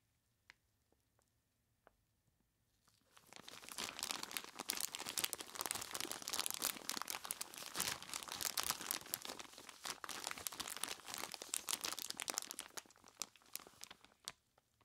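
A large clear plastic bag full of crushed ice is squeezed and scratched across its front by purple nitrile-gloved fingers. After about three seconds of near silence with a few faint ticks, a dense, bright crunching and crinkling rises and continues steadily before thinning out near the end.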